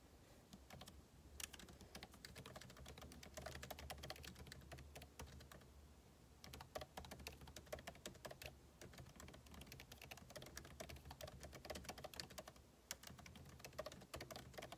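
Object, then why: Laptop keyboard with plastic keys in a metal body. Fingertips type rapidly on a backlit MacBook Pro keyboard, with plastic keycaps set in the aluminum body of a thin, hollow-shelled laptop. A dense stream of short, bright clicks runs throughout over a steady low hum, easing briefly around six seconds and near the thirteen-second mark before resuming.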